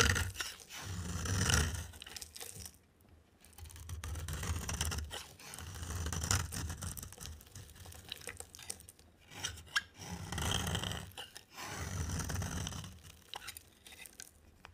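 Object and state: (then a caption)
Dry bar soap shaved with a blade. A box cutter blade shaves an oval, yellow and green dry bar of soap with a yellow coating. Long rasping scraping strokes come in repeated bursts separated by brief pauses, with a dull low rumble under a bright, crunchy, crackling edge.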